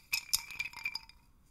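A hand holds the wooden dowel of a small wooden hanging chime rattle and shakes it, so the clusters of thin, light-colored wooden sticks or tubes hung on strings clack together. The result is a quick, uneven run of bright, dry clicks with almost no ring, thinning out into a few softer taps at the end.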